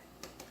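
A corn-flour arepa made from precooked corn flour, golden on both sides and cooking in a pan, is tapped twice. Each tap gives a short, hollow knock with a bright click, which shows the arepa is cooked through and ready to serve.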